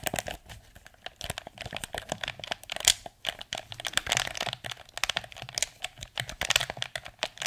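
A blue, hollow, hard-plastic PS4 DualShock 4 controller is held in both hands while fingertips tap its shell and press its buttons and sticks. Dozens of quick, dry, bright clicks and taps follow each other in an uneven, crinkly stream, with almost no ring after each one and little low end.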